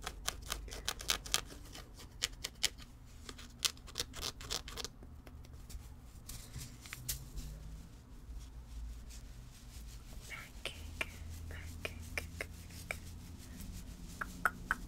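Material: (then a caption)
Fabric. Long red-painted nails scratch and tap a small cream fabric stuffed cat toy. Quick, sharp, bright taps are scattered throughout, over a steady soft scratching texture and a low rumble underneath.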